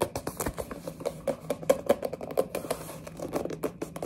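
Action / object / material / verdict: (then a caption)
tap / small printed cardboard box / cardboard / none. Long nails rapidly tap and grip a small orange printed cardboard box of mini building blocks. About 25 short, dry, papery taps and scratchy grips sound in quick succession, each with a slight hollow mid-pitched knock and almost no ring. There is very little low rumble.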